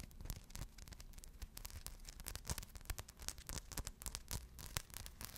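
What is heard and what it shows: Long blue nails scratch quickly across a small rhinestone-covered purse held in both hands. The result is a quiet, continuous run of dry, bright scratching and crisp ticking over a faint low rumble, with short sharper flicks standing out now and then.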